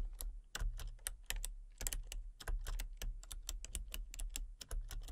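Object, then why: Plastic computer keyboard. Fingertips and long painted nails type rapidly on a full-size backlit plastic RGB computer keyboard with hollow key switches and colour-cycling lights. The keys give quick, dry, bright clicking taps in an uneven flurry over a steady low hum.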